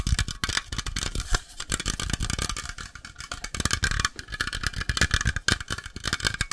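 A metal coffee can is tapped very rapidly and continuously, producing a dense stream of short, dry knocks and clicks. Each tap combines a low, hollow thump with a bright clattering edge and dies away almost instantly. A faint metallic ring comes through in the later taps.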